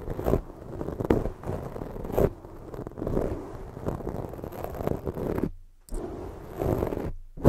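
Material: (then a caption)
Foam. Long fake nail tips scratch over the surface of a black foam microphone windscreen, producing a dense, muffled scratching and rubbing texture that is mostly low and dull with little brightness. Louder swells of scratching come and go, and two brief drops to near silence interrupt it before it resumes.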